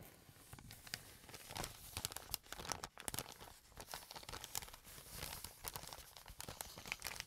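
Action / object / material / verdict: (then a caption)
flick / kraft paper bag / paper / none. An empty brown kraft paper bag has its folded layers handled and flicked by fingers with painted nails. The result is a steady, quiet crinkling with many sharp, bright rustles and crisp snaps, and little low end.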